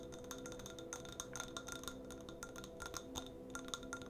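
A jar holding a citrus and white oak candle is tapped lightly in a quick, irregular series. Each tap gives a short, clinking ring with a clear tone near 1.4 kHz and bright overtones that fade almost at once. A faint, steady low hum runs underneath.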